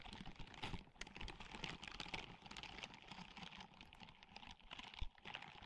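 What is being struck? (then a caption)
Silicone scrubbing glove with bristles. Long manicured nails scratch the bristled palm and fingers of a white and grey silicone dish-scrubbing glove worn on the other hand and held close to the microphone. The result is a dense, steady stream of quick, dry scratches and crisp ticks with bright, hissy texture and a soft low rumble underneath.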